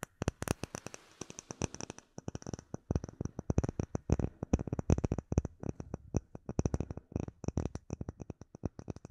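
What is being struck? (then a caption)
Clear acrylic plate tapped with fingernails. A solid, clear acrylic plate with embedded bubbles is held close and tapped rapidly with long nails. The result is a dense run of short, sharp clicks and light knocks with a soft low thump and quick decay. The taps come in uneven bursts, with a faint high, steady tone beneath them.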